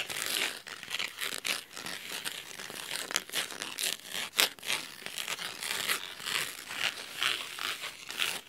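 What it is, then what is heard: Cloth-covered hardcover book being scratched. Fingernails scratch along the cloth spine of a blue cloth-bound hardcover book. The result is a run of dry, crisp, bright scratching strokes with almost no low end, each stroke rising and fading quickly in an uneven rhythm.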